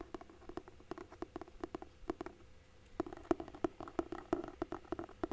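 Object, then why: Cloth-and-paper hardcover book. Fingertips and nails tap and scratch the underside of the cover of a large, solid hardcover book with a red cloth-and-paper cover, held flat. The result is a quiet, rapid series of short, dry taps with a hollow tone around 340 Hz that stops almost instantly, with faint scratchy texture between them. The tapping briefly pauses, then resumes somewhat louder.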